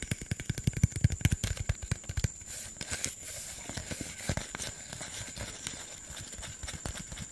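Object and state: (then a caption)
Plastic soda bottle. Fingertips and nails tap and scratch a hollow green PET Sprite soda bottle of about 500 ml. A quick run of dull, low, clip-clop-like taps in the first two seconds gives way to softer, grainy scratching with a few scattered taps and a faint steady high tone.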